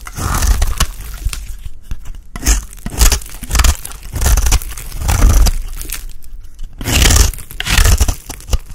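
A solid, ridged white rectangular bar of dry soap, held in the hand, is scraped with a utility blade. Repeated gritty scraping and crunchy shaving strokes come in bursts, with brief pauses between them, over a heavy low rumble and bright, crisp flaking detail.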